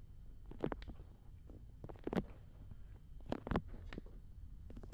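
Fingertips and long nails rub and scratch both soft silicone ears of a black binaural dummy head microphone. Quiet, low, muffled rumbling friction is broken by short, sharp scratchy bursts that flare up bright and fade almost instantly, in an uneven rhythm.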